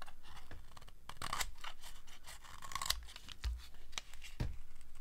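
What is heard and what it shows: A steel blade scrapes thin slivers off the face of a solid, dry green soap bar. Repeated crisp, dry scraping strokes give a bright, crackly rasp over a faint low rumble, with a few sharper scrapes standing out.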